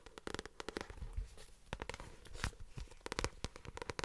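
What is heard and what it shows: Long nails and fingertips tap on the glossy card front cover of a paperback novel held upright near the microphone. A quick, irregular run of short, dry clicks and soft thumps comes through, each with a bright papery crackle at its edge and almost no ring.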